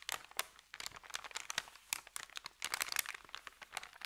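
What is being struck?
Thin paper bag.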